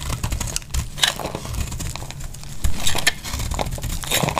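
A metal blade shaves flakes off the surface of a solid, oval, pink-red bar of dry soap held in the hand. The result is a steady run of crisp, crackly scraping and crinkling with bright, high edges over a low background rumble.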